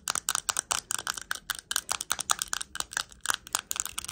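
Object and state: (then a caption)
Rhinestone-covered plastic compact. Long acrylic nails tap and scratch a small, round, hand-held compact covered in purple, green and clear plastic rhinestones. About two dozen quick, bright, dry clicks rattle out in an uneven rhythm, with scratchy sizzle between them, almost no low end, and no ring after each hit.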